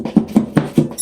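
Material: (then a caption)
Gypsum board. Six quick taps on a gypsum drywall seam give dull, hollow, low thuds centered near 200 Hz that die away almost at once. The seam is totally hollow because of a poor installation, with no stud and no screws or nails behind it.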